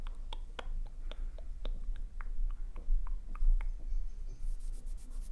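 A small, solid pink glitter-coated wax birthday candle shaped as the number 9 is tapped and scratched by long nails across its textured surface. Short, crisp clicks with bright, sharp tops fall in an uneven rhythm over a steady low hum. A soft scratching hiss rises near the end.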